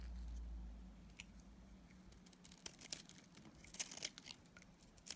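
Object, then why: Bar of soap cut with a metal blade. A palm-sized bar of solid, dried green soap is shaved with a metal utility-knife blade. After a low rumble that fades in the first second, short, bright, crunchy scrapes and cuts crackle irregularly, with sharper snaps near the end. The sound is quiet and close, with a faint steady low hum underneath.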